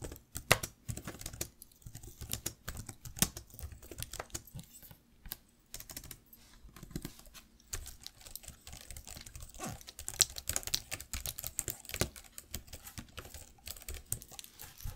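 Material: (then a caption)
Plastic. Fingertips and nails tap slowly on the plastic keys of a black laptop keyboard. The result is a steady stream of short, bright clicks and soft taps, each dying away almost instantly, with uneven pauses between bursts of keystrokes.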